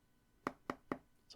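Taps on a Google Pixel 7 Pro smartphone's glass: three sharp, short knocks roughly a quarter second apart, followed by the start of a fourth at the very end. The phone sounds hollow, noticeably more hollow than the Pixel 9 Pro XL, as if there were nothing inside.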